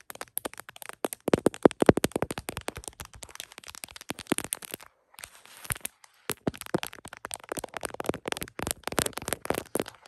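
Long acrylic nails rapidly tap and scratch the back of an iPhone in a printed plastic case, including its camera bump, while the phone stands on a tripod and is seen in a mirror. The result is a dense stream of sharp, bright clicks and light scrapes that die away almost instantly. Brief pauses come just before and after the six-second mark.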